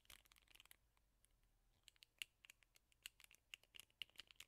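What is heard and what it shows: Fingertips and nails scratch and rub the black rubber bristle pad of a teal plastic hairbrush. A quiet, bright, dense rustle opens the clip, then gives way to irregular sharp, high ticks and crackles with almost no low end and no ring after each one.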